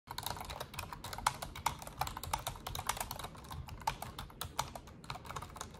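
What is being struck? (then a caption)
Plastic computer keyboard. Long orange-painted nails and fingertips type rapidly on an Asus desktop keyboard with black plastic keycaps and a silver frame, lying flat on a desk. The result is a quick, steady stream of short, dry plastic clicks and taps with a bright edge and a faint low thud beneath.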